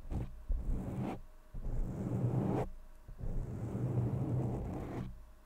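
Fingertips of both hands continuously rub, scratch and tap a black foam windscreen covering the top of a large blue condenser microphone. The result is a muffled, low rumbling scrape that swells and fades in waves, with brief quieter dips between the bursts of rubbing.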